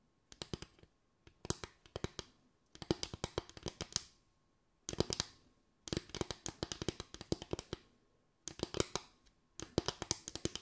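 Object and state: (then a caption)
Bamboo tray. Fingers tap on a bamboo tray in quick, dry bursts separated by short pauses. Each tap is a crisp, short click with a bright top and a low woody knock, dying away almost at once.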